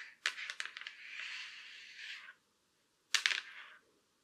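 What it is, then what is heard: Laptop lid tapped and scratched with long nails. Very long black acrylic nails tap and scratch along the top edge and back surface of a silver Acer laptop's thin, hollow lid. Sharp, bright clicks open a run of taps that settles into a sustained scratchy rasp for about two seconds. After a pause, another brief cluster of clicky taps follows.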